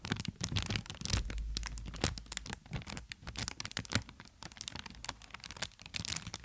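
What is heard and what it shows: An inflated plastic air-cushion packaging strip, held horizontally, is squeezed and crinkled by long nails pressing on its air-filled cells. Dense, rapid crinkling and crackling come with sharp bright snaps over a low, muffled rumble of handling, and each snap dies away almost at once.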